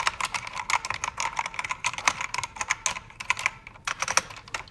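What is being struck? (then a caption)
Mechanical keyboard with plastic keycaps. Fast typing with fingertips and nails on a full-size black backlit mechanical keyboard with plastic keycaps and cycling backlight colors. Rapid, dry, bright clacks follow one another in quick bursts, each dying away almost at once, with almost no low end.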